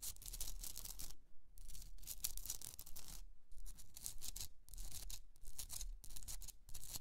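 Long nails scratch across the rough top edges of a Himalayan rock salt candle holder. Bursts of bright, gritty scratching come in quick, uneven strokes with short pauses between them, over a steady low rumble. Each stroke stops dry, with no ring afterward.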